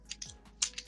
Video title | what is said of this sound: Unpacking with the Pros - An In-Depth Look Inside the March Champions Club Box | they have a weight transfer system i don't know if you guys heard that